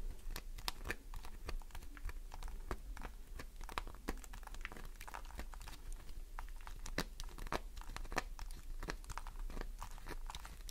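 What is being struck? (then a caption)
Glycerin soap bar. A solid green glycerin soap bar is scratched up close with long nails. The result is a dense stream of sharp, dry, crackling scrapes and clicks over a steady low hum. The bursts come too close together to count.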